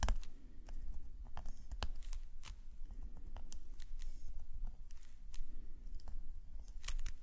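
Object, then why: Metal calligraphy nib on a paper sketchbook page. A metal calligraphy nib, held in a fingerless-gloved hand, scratches fine ink lines across a black paper sketchbook page. Soft, dry scratching and rustling strokes come in quick bursts, with occasional sharp ticks, over a steady low rumble.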